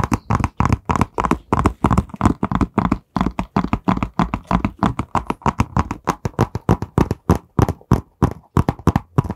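Fingertips and nails tap quickly along the surface of a long, narrow, printed white cardboard box that is hollow and held horizontally in both hands. Dozens of short, dull, hollow taps follow one another in an uneven rhythm, each dying away almost at once, with a low, thumpy body and very little brightness.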